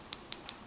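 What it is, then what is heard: Acrylic watch crystal, light and hollow. Four quick taps on the domed acrylic (Hesalite) crystal of an Omega Speedmaster give short, bright, high clicks that die away almost instantly, with almost nothing in the low end. The crystal sounds light and hollow, as expected for acrylic, since touch is the most reliable way to tell acrylic from glass.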